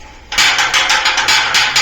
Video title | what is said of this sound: ఇయ్యాల కొత్తింటి🏠 పనులు ఏమైనయంటే? గణేషుని దేవుని టైల్? House construction telugu | నాకైతే గంట సౌండ్ ఏం బెల్లి సౌండ్ ఏం లేదు టంగ్ టంగ్ సౌండ్ వస్తుంది అంతే